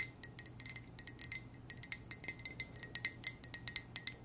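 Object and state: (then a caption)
Ceramic coffee mug tapped with nails. A hollow black ceramic coffee mug with white text is tapped with long nails in a quick, gentle series of about 26 light, bright clicks. Each tap is short and dry with almost no ring, carrying a thin high tone over a faint low hum.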